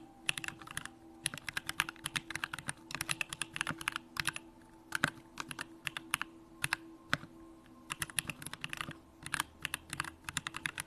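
A 65% Bakeneko65 mechanical keyboard with Durock lavender switches, pink plastic keycaps and a hollow aluminum case is typed on with fingertips in continuous key presses. Bursts of short, sharp, bright clacks with almost no ring come in quick runs with brief pauses, over a faint steady background tone.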